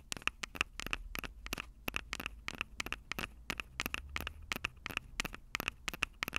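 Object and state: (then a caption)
Handheld audio recorder microphone grilles tapped with nails. Long purple acrylic nails scratch and tap the two metal-grilled microphone capsules of a Tascam DR-05 handheld recorder with a plastic body. The result is a rapid, irregular series of sharp, bright clicks and scrapes, each with a brief ringing tone around 2.6 kHz and almost no decay, over a faint low rumble.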